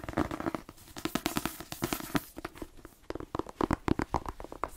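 A paperback novel, "The Twins," a solid block of paper held in one hand, is tapped quickly with the fingertips and nails of the other hand. It makes a rapid run of dry, short, dead taps with a muted papery thump in the low mids and brighter clicks from the nails. The tapping dips briefly near the three-second mark before picking up again.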